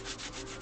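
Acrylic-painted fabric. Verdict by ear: Stiff.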